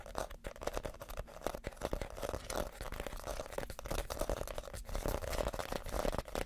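A small, hollow, empty basket woven from reed is held up and scratched with fingernails across its woven outside. The result is a steady, dense, dry scratching crackle with a faint hollow tone near 600 Hz and no ringing after each stroke.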